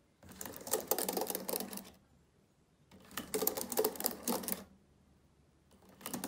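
Fingertips type on the plastic keys of a black laptop keyboard in three bursts of quick, dense tapping separated by short quiet pauses. The clicks are short and dry, with a bright clatter over a faint low hum.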